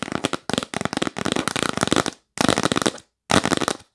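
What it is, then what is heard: Cardboard box lid. Long nails rapidly tap and scratch the lid of a yellow printed cardboard box, sometimes held and sometimes lying flat. Bursts of quick, dry, papery clicks and scrapes come in four clusters, separated by short silences.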